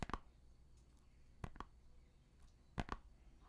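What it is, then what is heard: Plastic CD jewel case. Fingernails tap and click on a small, hollow, shrink-wrapped plastic CD jewel case held up close, its cellophane wrapping crinkling faintly. Six short, dry clicks come in three quick pairs, each with a crisp mid-range snap over a faint low hum. The taps die away almost instantly between stretches of near quiet.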